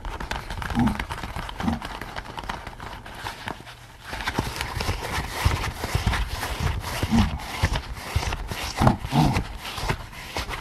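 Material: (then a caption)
Latex. Both hands scratch the top of a pink latex pig mask worn on a bowed head, using nails and fingertips. The result is a dense, continuous rasp of scratching with soft rubbery thumps and squeaks. It dips quieter around the fourth second, then picks back up.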